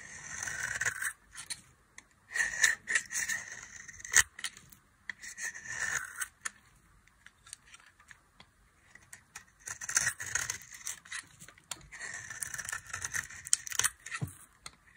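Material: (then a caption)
Soap. A small knife blade carves the edge of a solid, dry, hand-sized orange soap bar, shaving off crumbly flakes. Short, irregular bursts of dry, bright scraping and crunching come with sharp clicks and little low end, separated by near-silent pauses.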